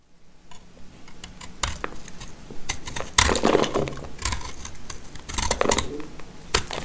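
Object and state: Dry soap bar.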